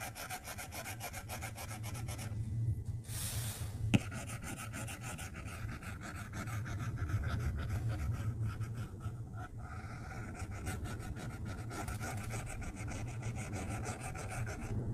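A plastic stylus tip makes small dabbing strokes on the flat glass screen of an iPad tablet, tapping and rubbing across the glass. The result is a steady, soft, low-heavy scratching and rubbing texture, with a brief hissy burst and one sharp tap near the four-second mark.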